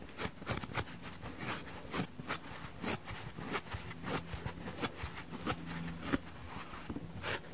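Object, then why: Cellulose sponge scratched with fingernails. Long nails and fingertips scratch and rub across the pitted yellow face and around the orange rim of a palm-sized, dry, porous cellulose sponge shaped like an orange slice, which is soft, not hollow, and held in both hands, with other fruit sponges lying untouched nearby on a wooden table. The result is a quiet, continuous dry rasping and crackling, punctuated by brief, sharper scratchy strokes that die away almost instantly.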